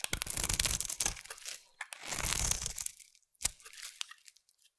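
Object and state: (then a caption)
Bar soap being carved. A solid orange bar of soap held in the hand is carved into curls with a utility knife blade. Two long, crisp tearing scrapes with a bright, crackly edge are followed by a few sharper short snaps and quieter shaving scratches as the blade slices through the soap.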